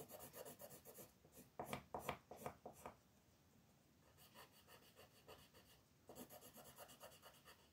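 A wooden colored pencil held in the fingers shades small areas of a thin paper coloring book page lying flat, while long-nailed fingers hold the page. Quick back-and-forth rubbing strokes make soft, dry, scratchy rasps with a bright papery edge, with a few louder strokes in one burst. The strokes fade to near silence in the middle, then return in light runs and a steady final burst.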